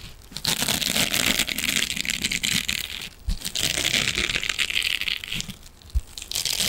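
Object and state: Metal mesh scrubbing sponge.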